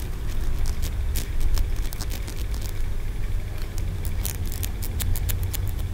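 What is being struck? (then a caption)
Carved green aventurine stone pagoda. A solid green aventurine stone feng shui pagoda with ridged tiers is held in the fingers while fingernails tap and scratch across its tiers. Quick, bright clicks and scrapes sound over a steady low rumble throughout.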